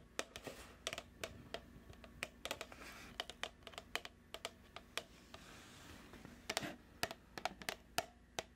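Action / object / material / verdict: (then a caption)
tap / plastic food tub / plastic / none. A medium plastic food tub with a printed label is tapped with long nails, giving 31 sharp, dry clicks in an unhurried, irregular rhythm. Each tap is bright and dies away almost instantly, with a few quick clusters of taps over a faint low hum.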